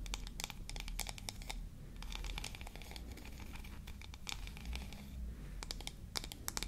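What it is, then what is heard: Wooden toy comb. Long nails scratch and tap along the teeth and edge of a small, solid, yellow-painted wooden toy comb held in both hands. Quick, dry, bright clicks and scratchy ticks come in irregular bursts over a steady low hum, each dying away almost instantly. The overall level stays quiet throughout.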